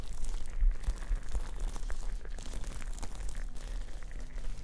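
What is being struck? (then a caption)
Plastic liquid motion timer. Long painted nails tap and scratch a hand-sized, clear plastic, hourglass-shaped liquid motion timer, sealed and filled with coloured droplets and held in both hands. A steady stream of quick, dry clicks and crinkly scratches plays over a low, muffled rumble.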